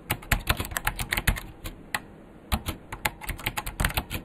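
Fast two-handed fingertip typing on a vintage beige plastic KPT-102 full-size mechanical keyboard with Alps switches and a hollow case. Quick, sharp clacking keystrokes with a hollow, low thump and bright click tops decay almost instantly. A brief pause near the middle separates the two typing bursts.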